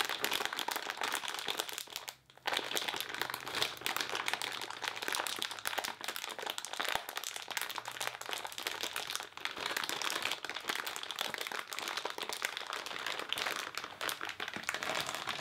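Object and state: Plastic-wrapped crepe paper roll being crinkled.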